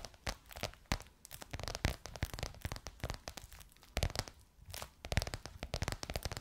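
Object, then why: Croc-embossed faux leather cover over a curved hollow form. Long nails tap and scratch a bronze-gold crocodile-embossed faux leather cover stretched over a curved hollow form. The result is a quick, irregular run of dry, clicky taps mixed with raspy, crinkly scratching. Each tap is short, with a low thud beneath the bright scratch and no ring after.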